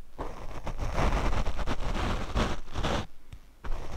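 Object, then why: Foam microphone windscreen brushed with a paint brush. A paint brush is brushed across the black foam windscreen of a Rode microphone. It makes a dense, low, rumbling scratch made of rapid, uneven strokes. A brief quieter pause comes near the end before the brushing picks up again.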